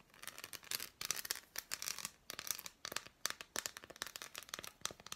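Long black nails scratch and tap an unwrapped, handheld solid dark chocolate bar with embossed squares. Quick bursts of bright, crisp clicks and scratchy rasps sit almost entirely in the high frequencies, with brief pauses between bursts.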